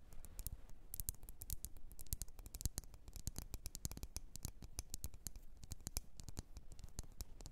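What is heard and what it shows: Long red nails tap rapidly on the glass sides of a wax-filled red glass candle jar. The result is a quiet, steady stream of quick, dry clicks with bright tips and a soft low thud beneath, each tap dying away almost instantly.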